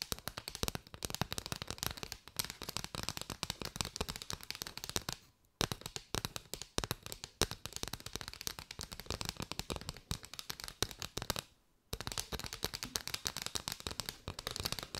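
Long white nails tap quickly on an arched bundle of striped paper straws, producing a dense stream of crisp, bright, hollow clicks. The rapid tapping briefly stops twice, around the 5.5 and 12 second marks, before resuming.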